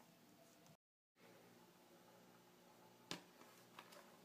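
Fingertips rub and scratch across the two-page spread of an open magazine with glossy, thin pages, making a soft, steady papery hiss. The sound briefly cuts to silence near the start, then a sharp, bright scratch stands out, followed by a few lighter scrapes.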